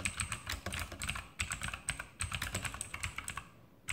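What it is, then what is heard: Plastic mechanical keyboard with clicky switches. Fingertips of both hands type continuously on an E-Element Sharpshooter X2000 backlit mechanical keyboard with plastic keycaps and Outemu blue clicky switches, resting on a desk. Rapid, sharp keystrokes each give a bright click over a low plastic thock, with a short pause near the end before typing resumes.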